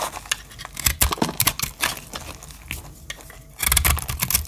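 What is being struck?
Soap bar cut with a small metal blade.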